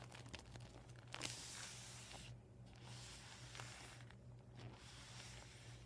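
Fingers rub and nails scratch the surface of a flattened, empty, deflated PVC vinyl beach ball. The result is quiet, continuous rustling and scratchy, papery crinkling with bright hiss, interrupted by a louder scrape near the one-second mark and two brief hushed pauses. A steady low hum runs underneath throughout.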